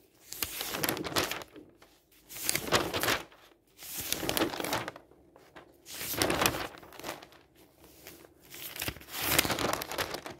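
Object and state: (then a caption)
Newspaper pages being turned. A hand lifts and turns the thin sheets of an open newsprint newspaper lying on a table. Each turn brings a burst of bright, papery flapping and crinkling rustle, with short quiet gaps between the turns.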